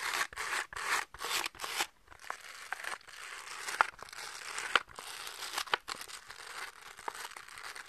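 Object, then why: Velcro catch paddle with plastic rim. Fingertips and nails scratch across the purple and orange felt/velcro face of a small round catch paddle with a pink plastic rim, held in both hands. A few loud, bright rasping strokes come first, then the scratching turns into a quieter, steady crackly rasp marked by occasional sharp ticks.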